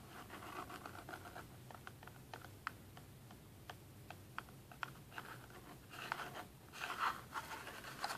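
Fingernails scratch and tap the top face of a small, hollow, rectangular cardboard box printed black with red splatter and a green cartoon face, resting on a table. Soft, dry scratching centered around 1.4 kHz is broken by sharp, clicky taps that stop at once with no ring. The scratching grows denser and louder toward the end.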